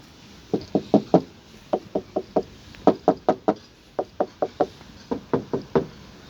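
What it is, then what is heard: Original aluminum car front panels. Knocking on the front body panels of an Audi A6 C6 during a pre-purchase inspection produces 22 short, dull knocks in quick bursts with very little ring. The front end sounds like aluminum, as it is from the factory, so the panels are in order.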